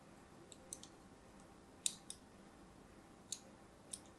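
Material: Soap.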